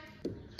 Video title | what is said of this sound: 中國農村別墅 - 6兄妹在家建的豪宅 - 依山臨水 - Villas in rural China【快意村夫】 | There is no sound knocking on this door